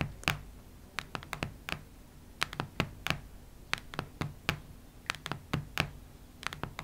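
Long red nails tap and scratch the cardboard and paper cover of a solid cactus-print hardcover notebook lying flat on a wooden table. Irregular, separate short dry clicks with bright, crisp edges and a low thud beneath die away almost instantly over a faint steady hum.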